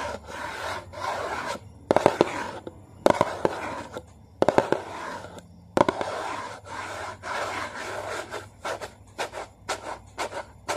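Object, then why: Small cardboard food box. Fingernails tap and scratch across the printed crossword side of a small, hollow, yellow and blue Maggi cardboard soup box. Dry, papery scraping strokes come in bursts, broken by a few sharp, bright taps that stop dead with no ring. Quicker, lighter flicks follow toward the end.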